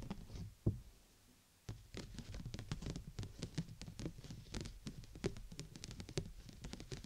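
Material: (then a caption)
Plastic. Long nails tap the upper dome of a large, hollow, clear plastic umbrella canopy held over the mic, using both hands. A single sharp knock is followed by a brief near-silent pause. Then comes a rapid, continuous patter of short, dry taps, each a low hollow thump with a bright clicky edge that dies away almost at once.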